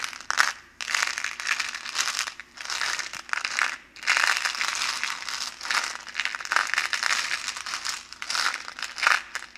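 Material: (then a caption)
Plastic. An orange hollow plastic bottle with a label is held in both gloved hands and squeezed and crushed with the fingers. It gives a dense, bright crinkling and crackling that comes in repeated bursts separated by brief quiet gaps, with almost no low end.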